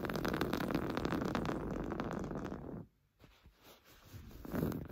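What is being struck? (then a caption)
Woven fabric sofa cushion. Short blue-painted nails scratch quickly over a large, soft, stuffed beige sofa cushion of textured woven fabric. The result is a dense, rapid, rough rasping that runs steadily for nearly three seconds, drops to near silence briefly, then returns in quieter bursts before rising again at the end.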